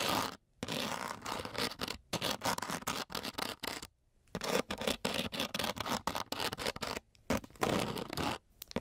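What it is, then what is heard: Coarse sandpaper scraped with a metal key. The tip of a metal key is scraped back and forth over a flat, coarse-grit sandpaper sheet. It makes rapid, rough, gritty scratching strokes with a bright, hissy edge, in bursts separated by brief silent pauses.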